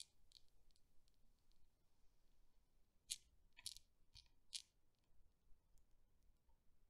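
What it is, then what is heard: Steel Newton's cradle balls clicking. Chrome steel balls of a Newton's cradle, released by hand, swing and click against each other. Sharp, bright metallic clicks with very short ring rise out of a quiet, soft background, with the loudest strikes clustered in the middle of the clip.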